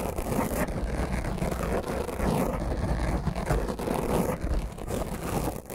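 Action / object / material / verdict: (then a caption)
scrape / foam microphone windscreen / foam / none. Long fingernails of both hands scratch and rub a black foam microphone windscreen. The result is a steady, dense, rumbling scrape, heavy in low bass with a muffled crackle and almost no bright content, continuing without clear breaks for the whole clip.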